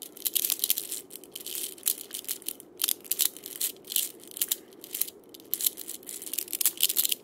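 Fingertips press, roll and scratch the steel ball chains against the cylinder of a wooden cabasa with a wooden handle. The result is a crunchy, bright rattle of short, irregular bursts with quiet gaps between them, almost all of it high in pitch and very dry, with almost no low end.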